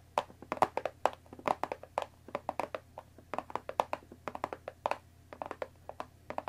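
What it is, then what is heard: Cardboard tea box tapped with fingernails. Long dark nails tap the top edge of a closed Earl Grey tea box, about 20 cm long, made of thin printed cardboard and likely full of tea bags, resting on a wooden table. A quick, uneven run of crisp, hollow clicks centered in the mid-range, each one dying away almost instantly against a quiet background.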